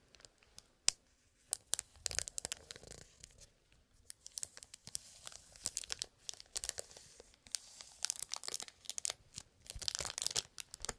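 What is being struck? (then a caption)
Cellophane-wrapped cardboard box. A small cellophane-wrapped cardboard toy box is held in the hand while fingertips scratch and tap its plastic-covered surface. The sound is bright, crackly crinkling with quick, dry taps in uneven bursts and short pauses, with almost no low end.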